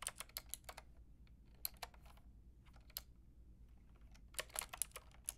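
Fingertips with long painted nails type on a pink and white mechanical keyboard with round plastic keycaps. Quick bursts of sharp, bright clacks come at the start and again near the end, with softer, sparser taps in between. A low, steady hum sits underneath.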